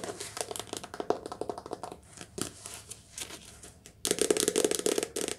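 Fingertips tap quickly on a soft-cover paperback book, recorded lo-fi in a cottage during rain. Dense, crisp papery taps with a faint crinkle run over background noise, thin out briefly, then return louder and brighter for the last second and a half.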